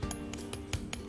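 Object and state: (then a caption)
Crispy fried chicken crust. The crust of freshly fried Jamaican fried chicken is tapped or scraped to show it is crispy on the outside and juicy on the inside. About six short, crisp crackling clicks sound at a steady pace over a low, steady background hum.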